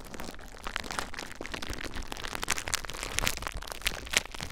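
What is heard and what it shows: Fingers squeeze and crinkle clear plastic bubble wrap wrapped around a recorder. The result is a steady, dense crinkling texture with sharp, bright crackles scattered throughout and a low rumble underneath.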